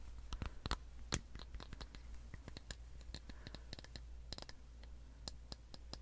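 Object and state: Plastic slicker brush with metal pins.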